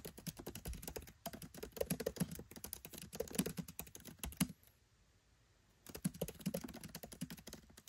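Fingertips type rapidly on a MacBook Pro 13 keyboard with black plastic keycaps set in an aluminium body. Dense, soft clicking key taps with a low thud and brief ring are heard. They stop for about a second near the middle, then resume.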